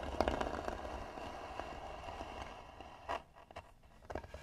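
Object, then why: Carved wooden box. Long nails scratch across the flat lid of a hollow, tan carved wooden box, making quiet, dry rasping strokes with a hollow midrange tone. The scratching is steadier at first, then thins into a few separate short scrapes with near-silence between them.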